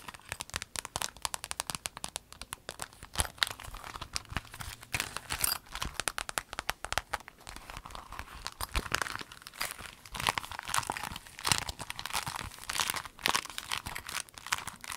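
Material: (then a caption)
Vinyl. A rainbow clear vinyl pencil case, rolled and folded, is squeezed and crinkled by hands with long nails. Dense, rapid crackles and crinkles fill the clip, bright and sharp with little low end, rising and falling in bursts throughout.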